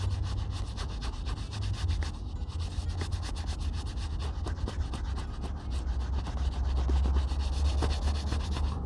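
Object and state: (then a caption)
Leather boot being buffed with a cloth. A grey terry cloth rag is rubbed vigorously by hand over a hollow brown leather Red Wing Pecos 9801 cowboy boot lying on a wooden table. The result is a steady, dense buffing scrub with rapid back-and-forth strokes, dominated by a deep low rumble with faint brighter swishes.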